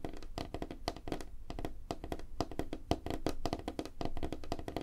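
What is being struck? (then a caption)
Wooden tabletop. Fingertips and nails of both hands tap quickly on a flat, solid, light-colored wooden tabletop. A rapid, uneven stream of dry, short knocks follows, with a low thuddy body and a woody midrange tone around 300 Hz. Each tap dies away almost instantly.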